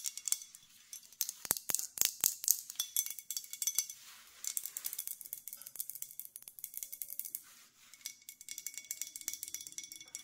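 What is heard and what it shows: Long nails tap and scratch the body and base of a full, dark green glass olive oil bottle with a cap. The result is quick, irregular, bright clicks and dry scratching, with an occasional ratchet-like rattle that may come from the cap. Each tap is short and crisp, with almost no low end.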